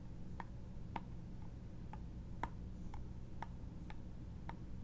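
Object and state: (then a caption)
Wooden trinket box tapped with nails. Long nails tap and scratch the textured lid of a small, hollow, embossed wooden trinket box held in the hand. The result is a steady run of quiet, dry ticks, each with a short woody click and a brief bright edge that dies away almost at once. A low background rumble sits underneath.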